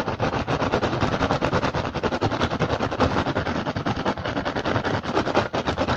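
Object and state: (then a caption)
Woven rattan basket. Fingertips tap fast and aggressively on the weave of a hollow woven rattan basket with handles. The result is a dense, continuous stream of quick, dry taps and crackles with a low, hollow thump beneath, with no clear pauses over the whole clip.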